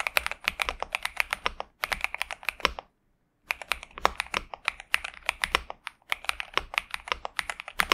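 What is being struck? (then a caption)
Mechanical keyboard with plastic keycaps. A pink and purple 65% Xinmeng M71 mechanical keyboard with TTC Superman switches and plastic keycaps, resting on a desk mat, is typed on continuously with the fingertips of both hands. A rapid stream of short, bright clacks with a crisp mid-range body fills the clip, pausing briefly just before halfway before resuming.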